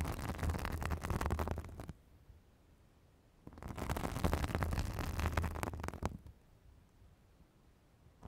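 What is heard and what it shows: A white, fibrous synthetic bath sponge held on a microphone is scratched with long acrylic nail tips. Two bursts of dense, rumbling scratching with a deep, muffled low end are heard, each followed by near silence.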